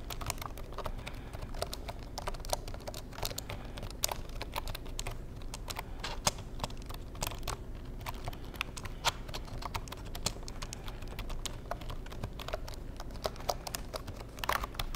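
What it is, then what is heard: Plastic computer keyboard. Fingertips tap the keys of a black plastic Insignia keyboard in a steady, rapid stream of short, dry plastic clicks that stop almost instantly. The clicks sit over a constant low hum, with occasional sharper, brighter taps standing out.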